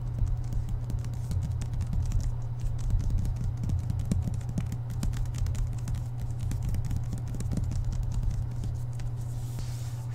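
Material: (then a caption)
Paper, board. Fingertips tap and scratch fast on the front cover of a thick hardcover book with a glossy paper dust jacket, lying flat on a table. Rapid, soft, dense taps and scratchy rustles continue throughout over a steady low hum.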